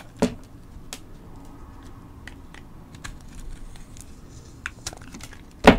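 A palm-sized, hand-held rectangular solid soap bar, with a white core and colorful crayon chunks on its outer layer, is cut and scraped into thin slices with a metal blade held in the other hand. Short, crisp clicks and bright scraping ticks sound over a quiet, low background, with the sharpest cuts near the start and at the very end.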